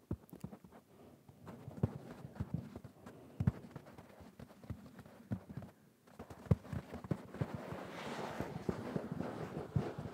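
Fingertips and nails scratch and rub the surface of a soft, stuffed, mustard-yellow velvet cushion with pompoms, held up close. The sound is a quiet run of dull, low tapping and brushing strokes, with a softer, airier rustle rising near the end.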